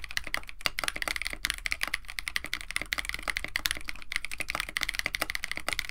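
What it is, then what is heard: Mechanical keyboard with PBT plastic keycaps. A compact 65% KBD67 Lite mechanical keyboard, with a white case, blue and white PBT plastic keycaps, an FR4 plate and Techno Violets switches, is typed on continuously with the fingertips of both hands. It makes a steady stream of short, crisp clacks with a bright click around 2 kHz and a light low thock beneath. Each keystroke dies away almost instantly.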